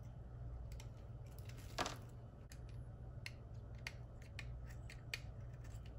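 A small, solid white rectangular bar of dry Ivory soap is held in one hand and carved with a metal utility knife blade, shaving off curls. Short, crisp, bright scraping clicks repeat over a steady low hum, with one longer, fuller scrape near the start.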